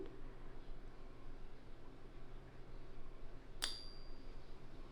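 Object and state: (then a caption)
Genuine silver bullion coin. A new silver bullion coin from a certified dealer, centered in a pocket ping tester, is pressed down and released, giving a single clear, high ping. The ping rings briefly over a low background hum. The ring is that of genuine silver.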